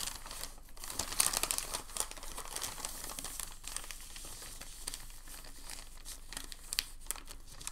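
Hands fold a thin, crinkled sheet of packing paper and press it flat on a table. The result is a steady, bright crinkling and crackling throughout, with a few sharper crackles standing out, including one near the start and one near the end.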